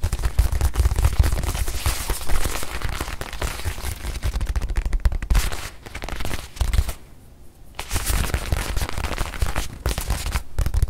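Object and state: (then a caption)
Leather watch pillow tapped with fingernails. A small white leather watch pillow, held in both hands, is tapped quickly with long nails as the hands move fast. Dense, rapid, dull thumping taps with a deep low body and short, dry decays run throughout, easing briefly to a near-silent pause about two-thirds of the way through before resuming.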